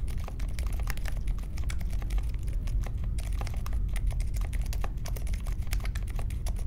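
Fingertips type steadily on the plastic keycaps of a compact Polaris mechanical keyboard with a metal case and Silent Alpaca switches, resting on a marble desk. The result is a continuous run of soft, muted clicks and short taps, with a low rumble underneath and no sharp, bright clacks.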